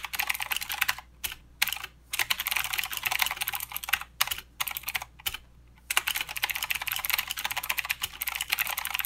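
Both hands type with their fingertips on a full-size mechanical keyboard with plastic keycaps and blue clicky switches. The result is a rapid, bright clatter of sharp clicks with almost no low end, broken by a few short pauses. The clicks stop dead with no ring.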